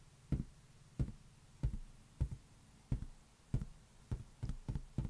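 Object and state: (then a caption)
Latex rubber balloon. A large, hollow, air-filled green latex rubber balloon is held in one hand and tapped slowly with the fingertips. About ten soft, dull, low thumps sound at an uneven pace, each dying away almost at once with no ring.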